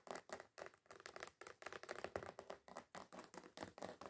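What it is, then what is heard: Glitter foam sheet. Fingernail tips rapidly tap and scratch the gritty surface of a flat, solid, red glitter-coated foam craft sheet. The result is a quick run of short, dry, crackly bursts with a gritty scraping texture and almost no ring after each stroke.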